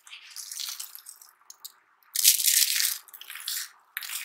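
Both hands dig into a pile of dry, crumbled pink and white soap curl flakes on a red surface, squeezing and crushing them with the palms and fingers and crumbling small dry pieces. The result is bright, dry crunching and crackling in uneven bursts with no low end, the loudest and densest crush coming midway through.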